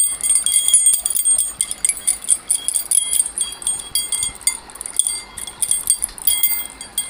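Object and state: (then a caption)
Metal key ring bundle being shaken. A bundle of long metal bars on a metal key ring is held by the ring and shaken, then gripped close, so the pieces jangle against each other. The result is a steady run of quick, bright, high metallic clinks and chime-like rings with almost no low end.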